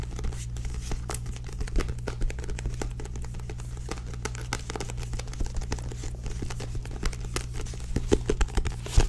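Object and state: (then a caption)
Paperback book with glossy card cover. A small paperback book with a purple-bordered glossy card cover is held upright while long nails tap and scratch across the cover and spine. Quick, dry clicks and crinkly scratches crowd over a steady low hum, growing louder and sharper toward the end.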